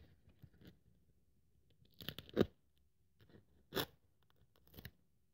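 A craft scalpel blade cuts and scratches through a thin white polyethylene foam sheet held flat on a wooden table. Faint scratchy ticks lead into a louder cluster of dry, crackling crunches around two seconds in, then another sharp, bright crunch and a softer final scrape, with near silence in between.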